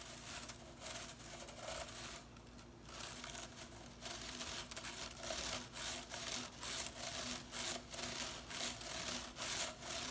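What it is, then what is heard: Plastic broom bristles. Fingernails scratch and flick across the blue plastic bristles of a broom with a white plastic head. The result is a quiet, bright, bristly rasping with short swishing bursts repeating at a steady, brisk pace, and a brief quieter lull near the start.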